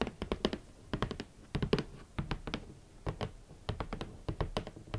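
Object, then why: Rigid cardboard shoe box lid. Long nails tap quickly on the lid of a large, red, rigid cardboard shoe box, drawing hollow little thunks with a bright clicky edge. The taps come in quick, uneven bursts, each dying away almost at once.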